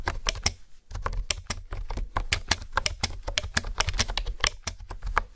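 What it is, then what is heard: Plastic keyboard being typed on. Fingertips and nails type and tap on a pink plastic keyboard with hexagonal honeycomb keys. The result is a rapid, uneven run of short, dry clicks with bright high tops and a soft low thud under each press. There is a brief pause just before the one-second mark.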